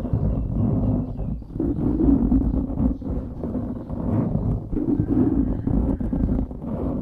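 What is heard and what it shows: Fingertips scratch and rub a dark grey foam windscreen on a microphone, producing a steady, dense scratching and rumbling sound that is heavy in the low end with little high content. The rubbing swells and dips in loudness over about seven seconds without clear breaks.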